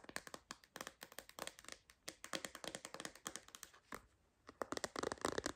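A clear MagSafe phone case with a purple bumper is tapped on its edges and back with long nails. Many quick, dry clicks and taps come in irregular bursts with a brief pause, each dying away almost instantly.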